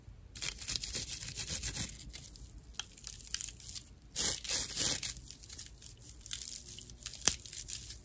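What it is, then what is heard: Natural loofah sponge scratched. A dry natural loofah pad, its hollow inner channels visible, is scratched with fingernails. The result is a rough, bright, crackling rasp in irregular strokes, with a louder burst of scratching partway through and a sharp snap near the end.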